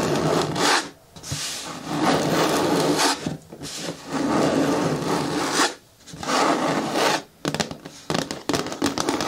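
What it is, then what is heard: Hard plastic bin with lid. Long nails scratch and rub across the flat front face of a large, hollow, green hard plastic bin with a lid. The result is a dry, bright, rasping scrape in long sustained strokes separated by short pauses. The clip ends with a run of quicker, choppier scratches.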